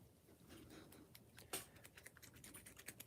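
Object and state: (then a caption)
Paint jar with some liquid paint left. An old jar of orange model paint is shaken to check its contents, giving a quiet run of soft, scratchy clicks and light sloshing taps, with one sharper knock midway. Some liquid paint is still left inside.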